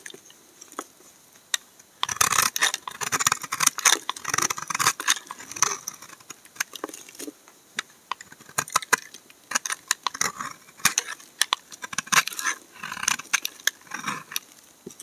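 A hand-sized solid dark brown bar of household laundry soap, held in one hand, is shaved and scraped along its edge with a steel snap-off utility knife blade, and thin curls pile onto a white table. Dry, bright scraping strokes and crisp clicks come in irregular bursts with brief pauses, carrying almost no low end.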